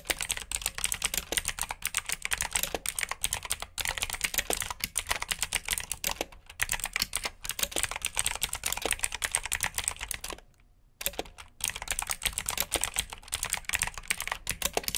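Continuous fingertip typing on the clicky blue switches of a black plastic RGB mechanical keyboard produces a steady stream of sharp, bright clacks. A brief pause falls around the 10–11 second mark before the typing resumes.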